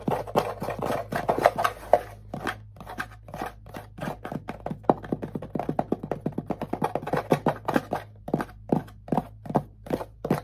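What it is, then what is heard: Wooden ukulele body. A small hollow wooden ukulele held on the lap has its back tapped and scratched with fingertips and nails for about ten seconds. It makes a steady stream of quick, dry, hollow knocks centred in the low-mid range, with brief scratchy rubs between them. Each knock dies away almost at once over a faint constant low hum.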